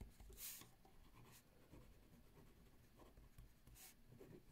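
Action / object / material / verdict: scrape / ballpoint pen on notebook paper / paper / none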